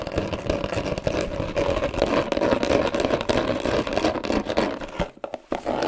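A hollow, dark blue cardboard box with a textured paper-covered surface is scratched and tapped with fingernails. It makes a dense, fast rasping scratch with quick taps and a hollow mid-range tone. The sound briefly drops out near the end, then resumes.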